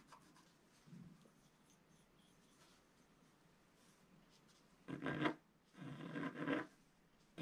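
A wooden stick scratches the lower stocking area of a flat, black-coated scratch-art sheet lying on a table, working in steady strokes. After a mostly quiet stretch with a faint scrape, dry, gritty scratching bursts come in louder runs of rasping strokes toward the end.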